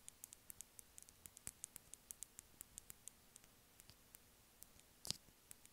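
Long fingernails lightly tap a small, white, hollow plastic earphone inline remote held up in one hand. About 27 quiet, sharp, bright clicks with almost no ring come in a quick, steady patter at first, then space out, with one louder tap near the end.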